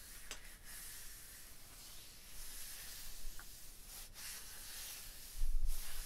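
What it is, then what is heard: Limestone block wall. A flat palm and fingers rub across a vertical, solid limestone block wall, making a soft, steady, bright hissing scrape. A low rumble sits underneath, and the rubbing swells louder and rougher near the end.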